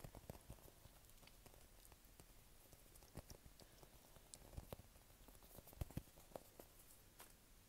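Fingertips tap and squeeze a small blue bird-shaped squishy toy made of soft solid polyurethane foam with an orange beak, held in both hands. Quiet, dull, short taps and soft squishes sound over a low, muffled rumble, with a few brighter clicks scattered throughout.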